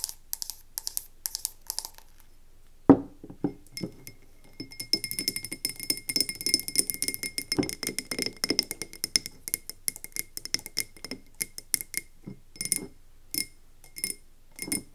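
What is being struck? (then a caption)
Wax-filled frosted glass candle jar. A wax-filled frosted ombre glass candle jar is tapped quickly on its sides with long nails, first while held and then after being set down on a wooden table with a soft thunk. The result is a dense stream of short, bright, clicking glassy taps with a faint ring.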